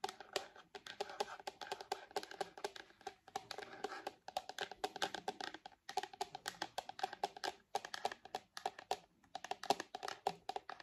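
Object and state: Plastic tablet case.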